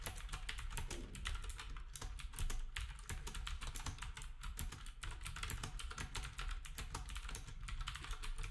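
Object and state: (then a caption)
Plastic keyboard being typed on. Fingertips type steadily on a black compact plastic typewriter-style keyboard with round plastic keycaps, while other devices nearby stay untouched. Rapid, crisp, bright key clicks run continuously over a steady low rumble.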